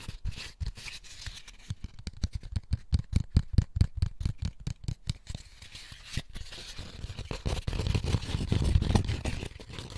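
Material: Paper pulp.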